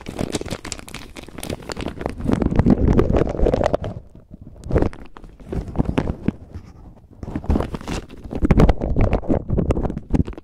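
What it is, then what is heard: Bag of plastic pearl beads. A clear plastic bag full of white plastic faux pearl beads is squeezed and rubbed between fingers and thumbs, so the beads shift and clack inside the crinkling bag. Dense bursts of rustling and clicking fill the first four seconds, thin out to a brief lull with a single burst, then build again toward the end. The sound is close, low-heavy and dry, with no lingering ring.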